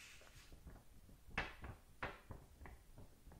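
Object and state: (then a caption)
Paper book pages scratched with nails. Long nails scratch across the printed paper pages of an open paperback manga. Dry, papery scrapes repeat in an uneven rhythm, with two brighter, louder strokes standing out midway through.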